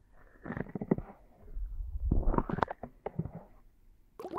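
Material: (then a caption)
Silicone. Fingertips and palms cup and rub both soft silicone ear-shaped pieces of a 3Dio binaural microphone on a tripod in an ear massage. The result is a muffled, bass-heavy rubbing with squishy, gurgling bursts, and a brighter rustle at the end.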